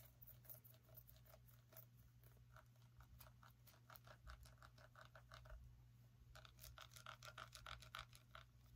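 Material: Pumpkin rind.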